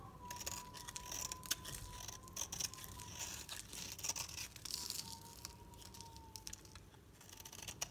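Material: Soap.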